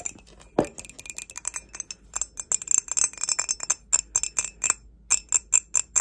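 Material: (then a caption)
Ceramic. An empty grey glazed ceramic mug, held upside down, is tapped with long nails in a quick, irregular series of light clicks. Each tap gives a brief, high, bright ringing tone with almost no low end, with one duller, fuller knock near the start.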